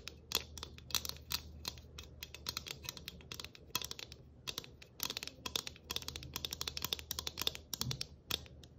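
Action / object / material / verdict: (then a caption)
tap / flat galvanized tin ornament / galvanized tin / none. A flat, round galvanized tin ornament with a Christmas tree cutout and a ribbon bow, held in both hands, is scratched and tapped with long nails. The result is a rapid, uneven run of bright, crisp metallic clicks and scratchy rasps that stop almost instantly, over a faint low hum.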